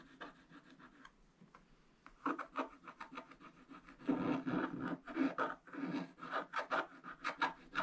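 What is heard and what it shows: A wooden stylus rubs and scratches the black coating near the flower and coral on a flat scratch-art paper page. The sound is dry and papery, starting soft and sparse, then turning into louder bursts of rasping strokes.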